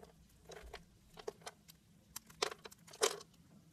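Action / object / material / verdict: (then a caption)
scrape / scored bar of soap cut with a blade / soap / none. A utility-knife blade cuts diamond-shaped cubes loose from a pink, scored bar of soap held in the hand, and the cubes crumble off. The result is a quiet series of short, crisp, bright crunches and ticks at an uneven pace, with the loudest snaps near the end.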